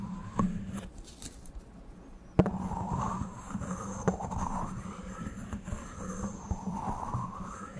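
A small, thin, solid white disposable plastic spoon is held in both hands close to the microphone and rubbed and bent with the fingertips. It gives a dry, rasping rub over a steady low hum, broken by a few sharp, quick clicks.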